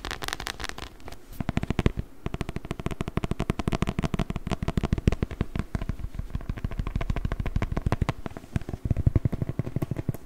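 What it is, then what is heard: Beeswax wrap being crumpled. A patterned beeswax-coated cotton wrap, stiff and crinkly, is handled and crumpled with the fingers. A rapid, continuous stream of sharp, short crackles and crinkles fills the clip, with a heavy low-end thump under the snaps and brief lulls around the one-second mark and just before nine seconds.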